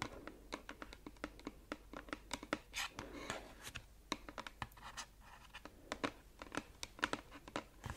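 Long acrylic nails tap and scratch a small, closed, red printed cardboard gift box of bath products that seems to be filled. A quick, irregular run of sharp, dry taps with a papery scratching texture in between; each tap dies almost instantly, with bright clicks over a mid-range tone near 1.5 kHz.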